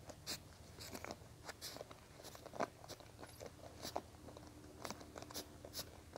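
Fingertips and nails scratch and flick across the multicolored plastic bristles of a small teal plastic paddle hairbrush held in the hands. The result is a quiet, irregular series of crisp, bright clicks and crackly ticks that stop almost instantly, over a faint steady low hum.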